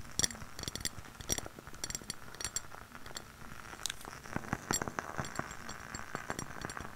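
A lit candle in a clear glass jar with white wax and a label is tapped on its glass walls and rim by long nails. Quick, bright clinking taps come in irregular bursts, each dying away almost at once, with faint scraping between them.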